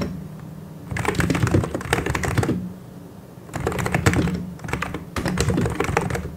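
Both hands type continuously with their fingertips on a full-size mechanical keyboard with white and grey plastic keycaps and hollow key switches. Rapid, deep, clacky keystrokes come in three bursts separated by short pauses, over a steady low hum.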